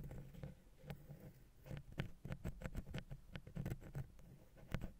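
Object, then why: Metal mesh microphone capsule grille. A wooden ear pick held in the fingers rapidly taps and scratches the silver metal mesh grille of a small, hollow XY stereo capsule on a Zoom H6 recorder. The result is a quiet, uneven patter of short, dry clicks and scrapes with a low, boomy thump beneath each touch and almost no ring after it.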